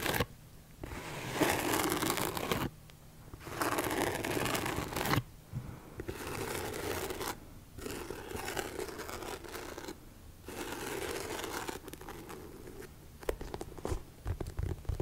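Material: Rubber.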